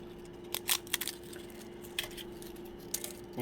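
Cauliflower leaves, baked for about 10 minutes at 400 degrees, give off several sharp, bright crackles and snaps against a faint steady hum. The crisp sound shows the leaf chips are baked through, dry and crispy, like potato chips.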